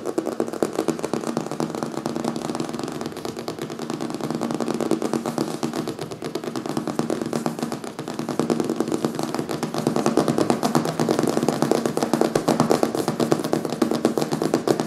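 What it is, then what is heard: Hardcover book cover tapped and scratched. A steady, rapid stream of short dry ticks and scratches runs the whole time, swelling a little near the end. The sound is a papery, mid-pitched clatter with no ringing, typical of nails working over the stiff glossy cover of a hardcover book.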